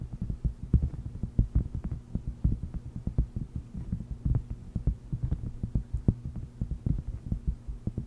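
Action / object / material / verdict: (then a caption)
tap / silicone heart-shaped mat / silicone / none. A flat, purple, palm-sized silicone mat shaped like a heart, thin and solid with a honeycomb texture, rests on a fluffy microphone cover and is tapped and scratched with long red nails. The result is a rapid, irregular stream of soft, muffled low thumps with faint brief clicks, over a steady low hum.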